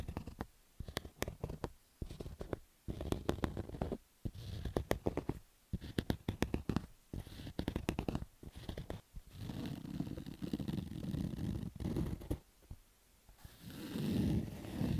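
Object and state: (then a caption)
Cotton baseball cap. Fingertips and nails scratch across the black stitched cotton fabric of a baseball cap's crown. The result is a dull, low-heavy rasping broken by quick, sharp ticks and brief pauses, with longer, steadier rubbing strokes toward the end.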